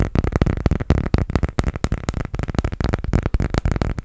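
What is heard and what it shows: Fingernails rapidly tap and scratch a transparent, thin, hollow plastic phone case decorated with colourful gummy-bear charms. The result is a dense run of quick, dry clicks and taps with a hollow, low-heavy body and almost no ring after each hit.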